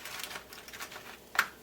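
Light, crisp patter-like hits land on fried tofu after the heat is turned off, ending with one sharper, brighter tap, and the tofu sounds nice and crispy.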